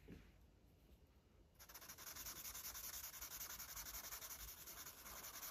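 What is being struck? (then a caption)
Felt-tip marker on a thin paper coloring book page. A red felt-tip marker rubs short strokes across a thin paper page of an open coloring book, coloring in the stripes of a parrot's tail. After a quiet, faint opening of about a second and a half, a steady run of soft, bright, scratchy strokes follows at a quick, fairly even pace of roughly three to four per second.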